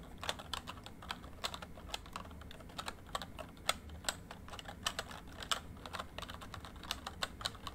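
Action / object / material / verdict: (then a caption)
tap / plastic membrane keyboard / plastic / none. Fingertips of both hands type on a full-size plastic MSI membrane keyboard with a rainbow backlight. The repeated key taps are short, dry and bright, with no ring, over a steady low background rumble.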